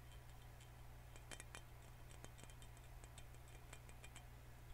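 Fingernails tap around the neck and cap of a full green glass soda bottle. Quiet, light, bright clicks come in a quick irregular patter over a steady low hum.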